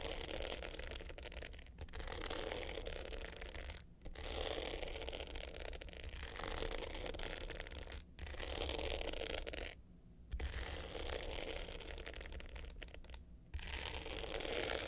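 Long pointed silver nails scratch the coarse dark blue glitter top of a small rectangular hollow hard-case box clutch with a gold metal frame, lying flat on white fur. The result is a dense, gritty, rasping scratch with bright hiss and a hollow low body, coming in sustained bursts separated by brief pauses.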